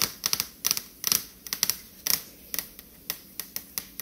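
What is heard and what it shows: Long acrylic nails rapidly tap a large, dark stainless steel refrigerator door, a flat panel over a hollow appliance, with an ultrasound photo stuck to it. About 14 sharp, bright clicks come in an uneven rhythm, some in quick clusters, each dying away almost at once.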